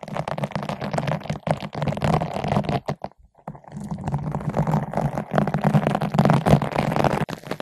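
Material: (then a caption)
Foam. A long bottle brush with green and white nylon bristles, held in both hands, is rubbed back and forth across a large yellow-pink foam ball windscreen fitted over a microphone. The result is a dense, rapid scratchy rustling with a muffled low-heavy tone. It pauses briefly near the middle, then resumes.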